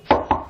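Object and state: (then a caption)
Wooden table. Two knocks on a wooden table, each a short, hollow knock with a mid-pitched body around 875 Hz that fades quickly, the second slightly quieter than the first.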